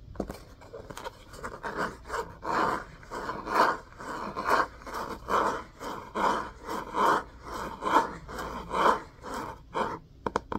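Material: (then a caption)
Cloth, board. Fingernails scratch and rub the spine edge and cover of a solid orange-and-cream hardcover book with a cloth-covered board cover, held upright. A steady series of dry, rasping scrape strokes, roughly one per second, is centered in the midrange with little low or high content. Each stroke swells and fades quickly, with a few sharper taps at the end.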